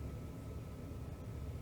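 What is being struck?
Nothing is struck.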